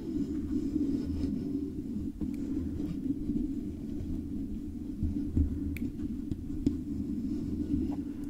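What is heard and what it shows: Long acrylic nails on both hands scratch and tap along the sides of a hollow, silver metal microphone body covered in stickers, with the fingertips near its foam cover. The result is a steady, muffled, low hollow rumble with soft scratching texture and occasional faint, sharp taps that die away quickly.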